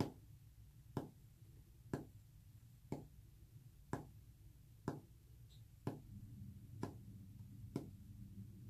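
Short fingernails tap a solid, flat white painted wood panel with visible brush texture nine times at about one-second intervals. Each tap is a brief, dry click with a quick low thump and almost no ring, over a steady low rumble that grows slightly louder in the second half.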